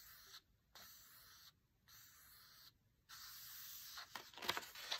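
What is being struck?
Paper book page.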